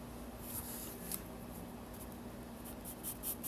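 A yellow pencil scratches lines across the white paper page of a spiral sketchbook. Soft, dry scratching runs throughout, with brief bright, hissy strokes standing out near the start and a cluster of louder ones toward the end, over a faint steady low hum.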